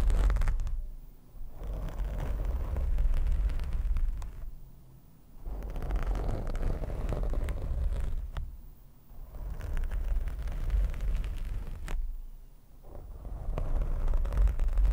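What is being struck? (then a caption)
Foam microphone windscreen. Hands grip, squeeze and quickly scratch a black foam microphone windscreen with fingertips and short nails. The result is a dense, deep, muffled rumbling rustle with crackly scraping, almost all of it very low in pitch. It comes in long stretches broken by brief quieter gaps.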